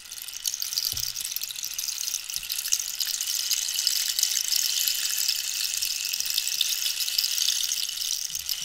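Long nails scratch and tap along a long, hollow wooden rainstick made of dried cactus with a holed surface while it is tilted. The result is a steady, bright, rain-like hiss and patter that fills nearly all the sound, with a few faint, soft low taps underneath.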